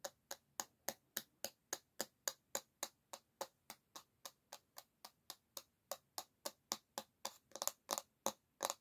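Long nails tap hard on the solid bamboo back of a paddle hairbrush held by the handle, making about thirty short, dry, bright clicks at a steady pace of roughly three or four per second. Each tap stops almost instantly with no ring. Toward the end the taps bunch closer together and grow slightly louder.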